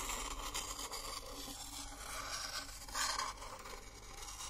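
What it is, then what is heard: Empty coconut shell bowl scraped with wooden spoon. A wooden spoon, held in a hand with long nails, scrapes and stirs inside an empty, hollow, hand-sized coconut shell bowl held in the other hand. The result is a quiet, steady, bright scraping and rubbing with a hollow tone, swelling into a slightly louder scrape about three seconds in.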